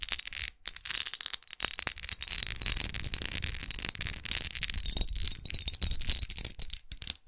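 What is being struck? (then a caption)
Textured glass perfume bottle. Long acrylic nails tap and scratch across the pyramid-studded face of a small red glass perfume bottle with a rose cap, held in hand. Dense, crisp, bright clicks and gritty scraping run almost continuously, broken by a few brief pauses, over a soft low rumble and a faint high tone.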